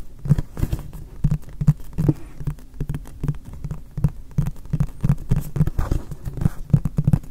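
Fingertips tap rapidly on the flat face of a hollow, apparently empty, frosted white polypropylene storage box from MUJI, held behind the recorder. The taps make soft, hollow, low thuds centred around 145 Hz that die away almost at once, forming a steady patter of dull knocks.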